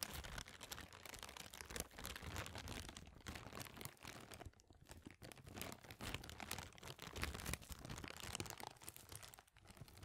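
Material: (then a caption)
Plastic. A clear, thin, empty plastic bag is rubbed and crinkled between the fingers and stretched open. It makes a continuous, dense crackle of sharp, bright crinkles over a soft low rumble, with quick dips and surges in loudness throughout.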